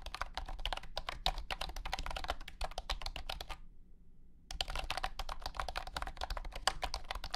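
Fingertips type continuously on a compact white and blue plastic wireless keyboard with round hexagonal honeycomb keycaps and a hollow body. A quick run of light, clicky plastic taps with a hollow low thump under each stroke pauses for about a second, then resumes at the same steady pace.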